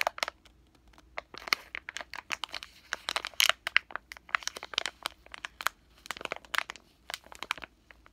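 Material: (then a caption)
Plastic film. A full, pillow-shaped soft plastic package of wet wipes with a floral print is held in both hands and squeezed and crinkled with fingertips and short nails. It makes a dense run of crisp, bright crinkles and crackles in irregular bursts, each snapping off instantly with no low-end body.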